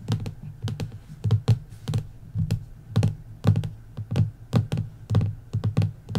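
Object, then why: Printed hardcover book board. Long nails and fingertips tap across the cover of a bare printed hardcover book, its dust jacket removed, lying solid and flat on wood. The taps are quick, irregular, dull low thuds with short bright clicks on top that die away almost at once.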